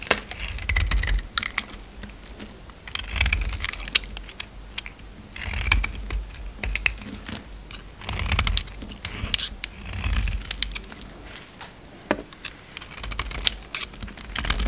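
A utility knife blade carves and shaves a solid white bar of soap held in the hand into flakes, producing crisp, crackly scraping bursts with a bright, papery edge. The cuts come in repeated waves with soft low thumps underneath, separated by brief quieter pauses.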